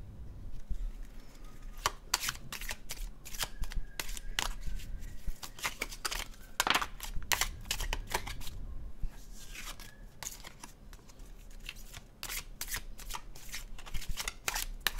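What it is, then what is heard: Tarot card deck being shuffled. A red-orange cardstock tarot deck is overhand shuffled by both hands, giving a steady stream of quick, crisp papery slaps and flutters. The dry, bright card snaps stand out over a low, constant background rumble.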